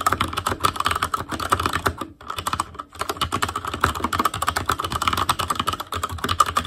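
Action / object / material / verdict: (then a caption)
tap / mechanical keyboard with plastic keycaps / plastic / none. Fingertips of both hands type rapidly on a full-size ASUS ROG Claymore Core mechanical keyboard with plastic keycaps on Cherry MX Red switches, a metal plate, a hollow case and an RGB backlight. A dense stream of short, crisp key clacks has a tone centered around 1.2 kHz, with brief lulls near 2 and 3 seconds before the fast typing resumes.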